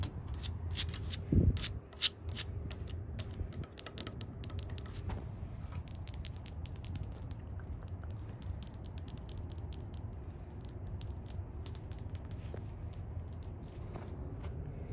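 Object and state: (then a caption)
Painted wooden porch handrail. Fingertips and long nails tap in quick flurries on the white-painted solid wooden top rail of a porch handrail. The taps are sharp, bright clicks that come in dense bursts for the first five seconds, then thin out into lighter, scattered tapping. A steady low rumble runs underneath throughout.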